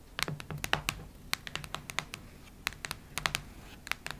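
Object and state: Hardcover notebook tapped with nails.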